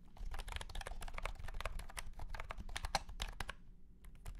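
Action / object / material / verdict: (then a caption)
tap / plastic keyboard with round keycaps / plastic / none. A white and pink cat-shaped plastic keyboard with round plastic keycaps in a hollow plastic case is typed on quickly with the fingertips of both hands. Dense, short, hollow plastic clacks run together over a low rumble. The typing pauses briefly near the end, then a few more keystrokes follow.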